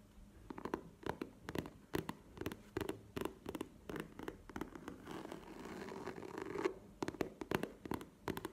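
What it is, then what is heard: Faux leather zip pouch, hollow and soft. Long painted nails tap and scratch a tall, hollow, soft map-print faux leather (or coated-canvas) cosmetic zip pouch standing upright on a table. Quick, dry taps with a muted low-mid thud come in uneven bursts. In the middle they give way to a steady, brushy scratching before the tapping resumes.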